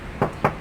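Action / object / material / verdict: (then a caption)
knock / steel car body panel / steel / original. Two knocks on a steel car body panel, each a short, clear ringing tap with energy mostly in the low-mid range. The panel rings clearly, showing it is original with no body filler.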